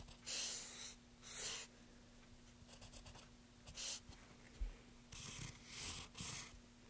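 A pencil tip scratches strokes across the surface of a solid, pale, light wooden board while the other hand steadies it. About six soft, bright, hissing strokes come in separate bursts, a few longer and a few short, between quiet gaps. A faint steady low hum runs underneath.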